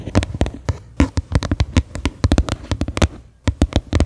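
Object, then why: Upside-down plastic bowl. Fingernails tap the flat bottom of a medium faceted white plastic bowl, set upside down, hollow and empty. There are 23 quick, crisp taps in an uneven rhythm, with a short pause near the end. Each tap is a dry, bright click over a low hollow thump that dies away almost at once.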